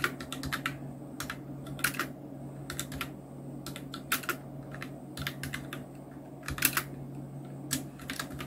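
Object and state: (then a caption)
Plastic mechanical keyboard. Continuous two-handed fingertip typing on a Nubwo Illution NK-70, a full-size black mechanical keyboard with Outemu red switches, round plastic keycaps and a blue backlight. Rapid, irregular bright plastic clacks and taps come in short bursts over a steady low hum.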